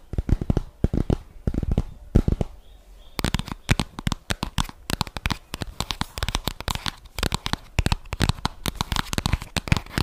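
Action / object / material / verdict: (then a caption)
tap / cardboard eyeshadow palette box / cardboard / none. A flat rose-gold cardboard eyeshadow palette box with embossed letters is held in both hands and tapped and scratched with long fingernails across its surface and edges. Rapid, dry clicking taps come in dense clusters with bright scratchy texture, and a brief quieter stretch before about 3 seconds gives way to steady, closely spaced tapping.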